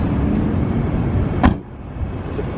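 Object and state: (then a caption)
Car door closing with a solid sound. A 2005 Mercedes-Benz SLK 55 AMG's steel door is shut once, making a single low, solid thud over a steady low engine-like rumble. The door closes the same with the window up or down and has a firm, solid feel, better than pillarless doors.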